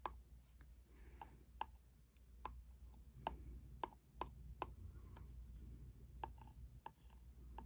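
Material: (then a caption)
Cardboard. The tip of a plastic pen taps and scratches the front face of a small printed cardboard ink cartridge box held in one hand. Sharp, dry clicks come at irregular intervals, each with a bright tone near 1 kHz and almost no ring. Faint scratching fills the gaps over a steady low hum.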